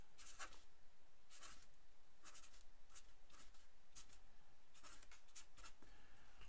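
A black felt-tip pen scratches across a single thin white paper sheet lying flat on a wooden table, with the other hand steadying the sheet. Quiet, irregular bursts of bright, dry scratching come and go as the writing strokes are made, over a faint low background hum.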